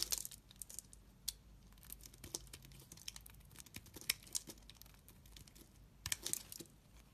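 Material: Soap.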